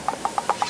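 An unripe durian is tapped five times close to the microphone, giving short, dry, hard knocks around 800 Hz to 1 kHz with almost no ring. The sound is hard rather than hollow, which marks the fruit as unripe, because the flesh still fills the husk tightly.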